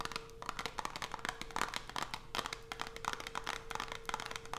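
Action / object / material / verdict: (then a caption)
scrape / closed cardboard box holding a bar of soap / cardboard / none. Long almond acrylic nails tap and scratch a small white Coast cardboard soap box, closed and holding a bar, resting on black fabric. Quick, dense bursts of crisp, papery clicks and scrapes follow each other with almost no ring, over a faint steady hum.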